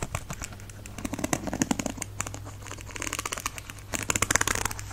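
Fingernails tap and scratch on the smooth, glossy black plastic back of a hollow-backed paddle hairbrush. The result is rapid, dry, bright clicks and crinkly scratching in uneven bursts over a steady low hum, getting louder near the end.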